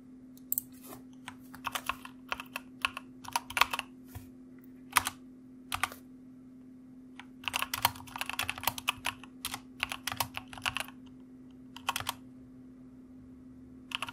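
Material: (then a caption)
Plastic. Both hands type with their fingertips on the plastic keycaps of a white full-size mechanical computer keyboard with a padded wrist rest. Bright, short clacks come in irregular bursts and pauses, each stopping almost instantly, over a faint steady low hum.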